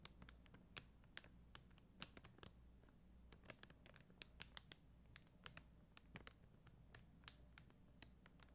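Long dark-green nails tap and scratch across a flat plastic rhinestone sticker sheet of red and clear faceted plastic gems on white backing. Quiet, sharp, bright clicks come in an irregular stream with soft scratchy rubbing between them, each tick dying away almost instantly over a faint low hum.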